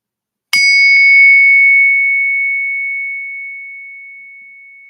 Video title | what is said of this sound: Silver over $80 | That is the sound of real money. Silver pinging and ringing